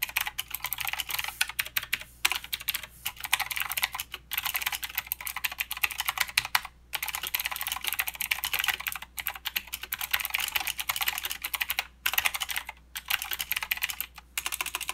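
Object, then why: Mechanical keyboard with plastic keycaps. A mechanical keyboard with plastic keycaps and clicky blue switches is typed on with the fingertips, including the arrow keys. Rapid, bright, crisp clicks run in dense bursts, with very short decay and little low end, broken by brief pauses.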